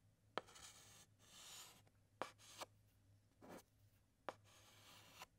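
A white chalk stick writes and outlines letters on a large, flat black chalkboard, making soft, bright scratching strokes. Five sharp taps mark where the chalk strikes the board. The sound is quiet and irregular, with short pauses between strokes.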